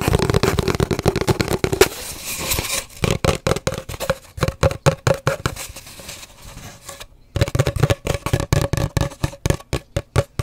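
Long dark nails tap rapidly on an empty, hollow cardboard paper towel roll held horizontally. The result is a fast, uneven run of short, dry, hollow knocks with a low-mid resonance. Dense bursts open and close the clip, separated by a quieter, softer stretch and a brief pause.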